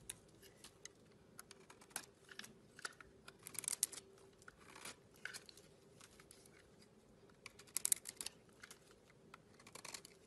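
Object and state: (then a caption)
Bar of soap being shaved. A metal blade scrapes and shaves curls off a solid, hand-sized pink bar of soap with green remnants. Many short, dry, crisp scraping ticks are heard, bright and high with little low end, with denser bursts of shaving around 4 and 8 seconds over a quiet background.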